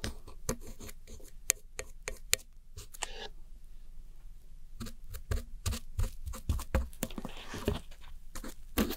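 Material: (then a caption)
Pressed powder. A thin metal pick with a pink handle scratches and digs into the blue, grey and pink pressed powder pans of a round white plastic eyeshadow palette, its lid open behind, crumbling the powder. Crisp, bright scraping clicks come in quick bursts over a steady low hum, with a quieter stretch in the middle before the dense scratching picks up again.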